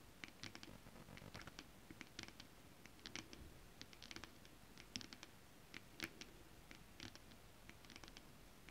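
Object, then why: Holographic scale-printed fabric. Long acrylic nails on curled fingers scratch and tap a flat sheet of shiny holographic mermaid scale-printed fabric. Quiet, irregular bursts of crisp, bright scratching mix with short, dry taps that die away almost at once. A soft low rumble runs underneath throughout.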